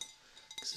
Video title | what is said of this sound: What is ASMR? 1st Day of ASMR School! ft. Professor ASMR | a little higher in pitch for this glass